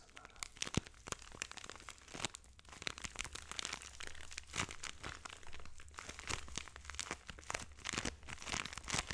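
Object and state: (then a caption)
Plastic bag of kinetic sand. A hand-sized, solid-feeling clear plastic bag full of orange kinetic sand is squeezed and rubbed with fingertips and thumbs, so the bag crinkles. Dense, bright crinkles and crunchy crackles come in quick, uneven bursts, with sharper snaps now and then. A faint steady low hum sits underneath throughout.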